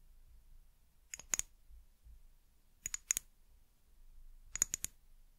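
Long nails tap the sides of a small amber glass bottle with a white plastic cap, making three quick bursts of sharp, bright clicks. Each tap is short and dry with almost no ring, separated by near silence and a faint low rumble.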